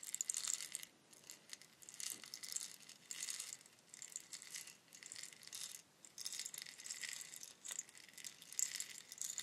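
A long hollow bamboo rainstick is tilted back and forth in both hands, and its inner fill pours through with a soft, bright rattling patter. The sound comes in repeated quiet surges of high, hissy trickling with no low end, rising and fading with each tilt.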